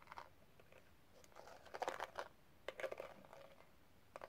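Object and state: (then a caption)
Rhinestone-covered metal case. Long red nails tap and scratch across the pink rhinestone gem-tile cover of a small closed metal case. Quiet, bright clicks and scraping bursts come in clusters, with short, dry taps that barely ring.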